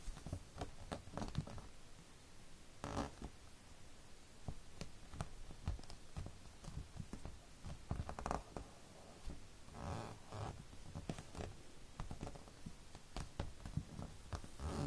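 Fingertips tap and drum on the glossy paper cover of a closed anime magazine lying flat on a fabric surface, with a bracelet on the wrist. Many quiet, short, dull taps with very little ring, mostly low and soft, are broken up by a few longer, brighter brushing swishes.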